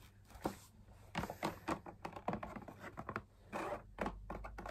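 Fingertips and nails tap the outer wall of a hollow beige drum lamp shade made of perforated fabric on a stiff backing with punched dot circles. The result is a quick, irregular run of soft, dull, papery taps and light scratchy crinkles, each dying away almost instantly.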